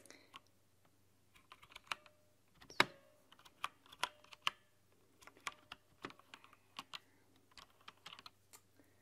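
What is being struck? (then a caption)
Plastic mechanical keyboard keys. Both hands type on a plastic mechanical LED keyboard with white translucent plastic keycaps, long dark-polished nails tapping the keys with fingertips and nail tips. About nineteen short, bright clicks and clacks come at an irregular pace, each dying away almost at once, with a faint low hum underneath.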